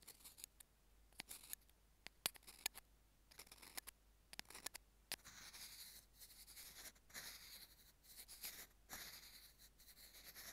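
Metal tweezer tips tap and scratch the small white plastic in-line mic remote of Apple earphones lying on a jade stone. The first half is a series of sharp, bright, quiet clicks, then it turns into continuous high, hissy scratching over the plastic surface.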